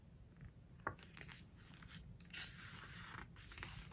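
Fingertips squeeze and rub a glossy paper page of a large open hardcover book, then turn it. Soft, bright crinkling and rustling build into a sharp crackle, followed by a louder, sustained papery sweep as the page turns. The sounds are quiet and close, with short crisp ticks scattered throughout.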